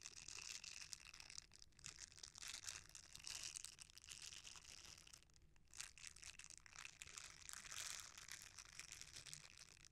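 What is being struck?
Silicone bristle scrubber.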